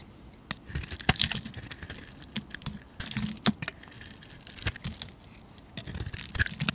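A hand-sized solid white bar of soap, held in the hand, is sliced and shaved with a metal utility blade, sending flakes falling off. Crisp, bright scraping and crackling cuts come in quick bursts with short pauses between them. Each stroke ends dry and abrupt, with no ring.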